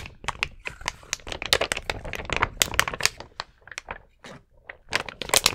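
A large, flexible clear plastic sticker sheet covered in rows of small colored acrylic rhinestones is held up in both hands while fingertips and nails scratch and flex it. Dense, bright crinkling and sharp clicking crackles come in rapid bursts with brief pauses between them.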